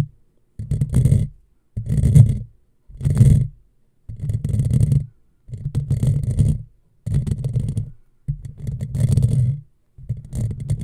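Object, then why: Metal mesh microphone grille. Long fingernails of one hand scratch a hollow black metal mesh microphone grille in repeated bursts, each lasting about a second with short silences between. The close scratching comes through as a dense, low, rumbling rasp with faint bright edges.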